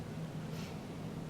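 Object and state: Nothing is struck.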